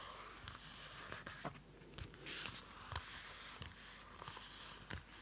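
Fingernails scratch and tap the dark card cover of a small Field Notes pocket notebook, a cardboard-covered paper notebook held close to the mic. Seven sharp, dull taps stand out over a constant bright, hissy scratching, with one longer, louder scrape in the middle of the clip.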